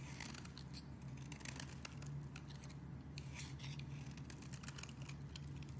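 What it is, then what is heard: Bar of soap being shaved with a blade. A metal craft knife blade scrapes and shaves a solid, palm-sized purple bar of soap held in one hand, sending curls of soap falling away. Quick, bright scraping strokes repeat steadily over a low, constant hum.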